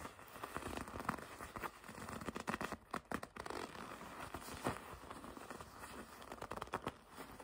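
A red leather jacket has its soft leather bunched up and gripped with long red nails. This produces quiet, dry crinkling and creaking with a steady stream of short, rough rustles and crackles. The sound is mostly low-mid, with little high sparkle.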